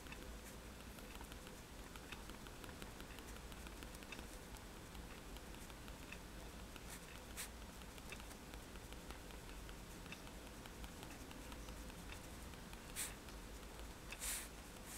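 A fine-tip technical pen held in the fingertips taps rapidly on a sheet of thin white drawing paper lying flat on a table, stippling dots onto a wand drawing. A quiet, steady patter of light pen-tip ticks runs over a low background hum, with a couple of slightly louder, brighter taps near the end.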